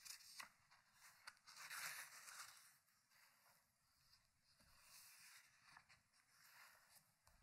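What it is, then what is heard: Hardcover book, pages being turned. Fingertips lift and turn single paper pages of a large, thick open hardcover book lying on a wooden table. Quiet, bright papery swishes and rubbing rustles come in irregular bursts, with the loudest flip in the first few seconds and softer rubbing after. The clip ends with a page mid-turn.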